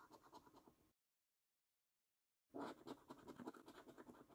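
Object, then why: Paper scratch card with scratch-off coating, scraped with a coin. A coin held in the fingertips scratches the coating off a thin, flat paper lottery scratch card, making soft, rapid, uneven scraping strokes. The scraping stops for about a second and a half of silence, then starts again louder.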